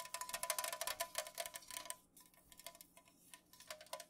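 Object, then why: Unopened aluminum drink can. Long nails fast-tap across an unopened Pepsi aluminum can lying on its side on a pink fuzzy cloth. The result is a rapid, uneven run of bright, tinny clicks with a faint metallic ring around 620 Hz. The tapping is dense for the first two seconds, then turns quieter and sparser with a few sharper taps near the end.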